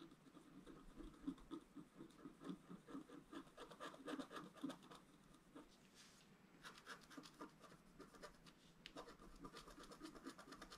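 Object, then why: Coated scratch-art card scraped with a wooden stylus. A wooden stylus scratches fine strokes into a flat scratch-art card, a solid sheet with a black coating over a colored foil layer, held flat on a table. Quiet, dry, raspy scratching comes in quick, dense strokes, eases briefly around the middle, then resumes with a brighter scraping texture.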